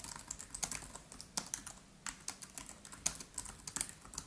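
Fingertips of both hands type rapidly on the black plastic keys of an aluminium-bodied MacBook Pro laptop keyboard. The result is a quick, uneven run of short, crisp clicks with a bright, high-frequency edge and almost no low end, each tap dying away instantly.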